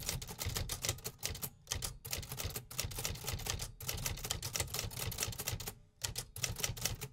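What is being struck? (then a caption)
Metal typewriter. Fingertips type continuously on a vintage 1950s metal typewriter, producing rapid, crisp mechanical clacks with bright key strikes over a low thudding body. The steady run of keystrokes breaks for brief pauses before resuming.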